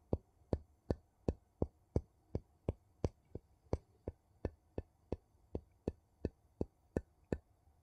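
The edge of a wooden scoop scrapes and taps along the rim of a ridged gold metal screw lid on a small empty glass jar. Twenty-one short, dry taps come at a steady pace of about three per second, each with a dull, low thump and a quick bright tick that dies away almost at once.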